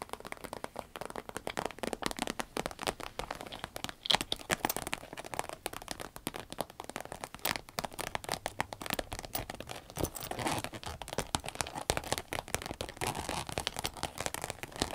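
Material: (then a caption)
Vinyl. A green vinyl pencil case is tapped with the fingers, giving a dense run of sharp, clap-like hits with a crinkly, crackling texture. The taps come quickly and unevenly for the whole clip, with occasional louder snaps standing out.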